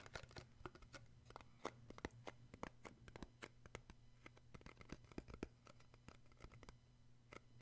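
Fingertips tap and grip the inside bottom of a small, square, open cardboard box, white inside, hollow and empty and held in one hand. A quick, irregular run of short, dry taps and scratchy grips, with bright clicky edges, sits over a steady low hum. Each tap dies away almost at once.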